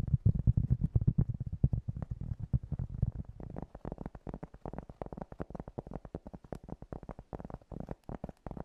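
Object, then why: Piece of cork tapped with fingernails. Fingernails tap rapidly and unevenly on a piece of cork, making soft, dull, low-pitched thuds that die away almost instantly. The first three seconds are fuller and heavier, then the taps turn lighter and thinner while continuing at a quick, irregular pace.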